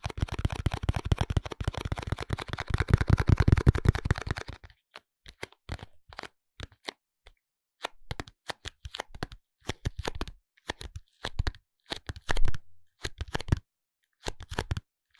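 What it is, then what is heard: Cardboard box. A small pink printed Minon soap box made of cardboard is held in the hands while fingertips and nails tap and scratch it. For the first four and a half seconds there is a dense, rapid flurry of dry tapping and scratching. It then gives way to sparse, separate short taps with silent gaps between them, each click dull and low-heavy with almost no ring.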